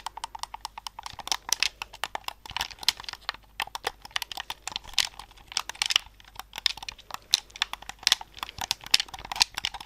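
A hollow white plastic Xbox-style controller with black buttons, held close to the mic, is tapped and clicked by fingertips and thumbs on its buttons. Dozens of short, dry, bright plastic clicks come in quick irregular bursts with almost no low end and no ring.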